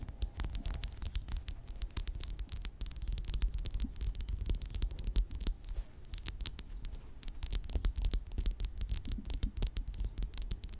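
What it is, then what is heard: Plastic lip gloss tube. Long acrylic nails tap and scratch a small, filled pink plastic lip gloss tube with a red cap lying flat. Quick, irregular bright clicks mix with scratchy scraping, each tap dry and short with no ring, over a low, steady rumble.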